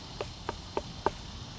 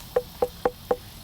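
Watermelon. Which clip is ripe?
The second.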